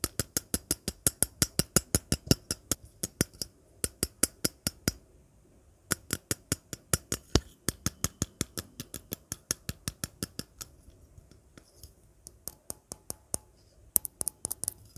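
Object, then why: Metal aerosol spray can. Long nails tap and scratch the body and rim of a hollow, hand-sized, pink-striped metal aerosol deodorant spray can. Dozens of quick, sharp, bright clicks come in steady runs with brief pauses, each dying away almost instantly with a thin metallic tick. Fainter scratchy taps fill the later part.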